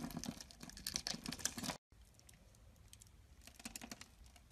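A metal box-cutter blade cuts a hand-sized, cream-colored solid bar of soap, pre-scored into a grid, into small cubes that fall off. Dense, crisp, high scraping and crackling clicks fill the first couple of seconds, then the sound cuts out briefly before returning as quieter, softer scraping with occasional sharper ticks.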